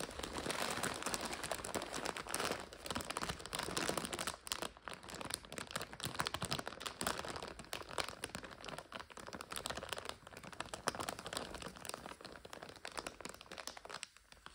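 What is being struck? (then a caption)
Plastic bag of dry egg noodles. Long nails and fingertips press, scratch and crinkle a clear plastic bag with a blue printed label, full of about 400 g of dry egg noodles. A dense, continuous stream of bright, crisp crackles and rustles fills the clip, with short taps and scrapes that stop dead with no ring. The loudness rises and falls as the pressing comes in bursts.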